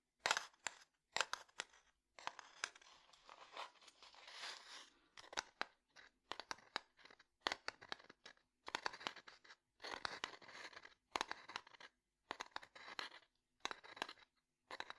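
Fingernails tap and scratch on a closed wooden domino box, giving bursts of sharp, dry clicks broken up by longer raspy scratching stretches. The sound is bright with almost no low end, and each tap stops almost instantly with no ring.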